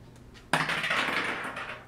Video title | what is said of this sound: Comments 2 | That sounded so fake. I promise it's a real nut. Like, it sounds like plastic.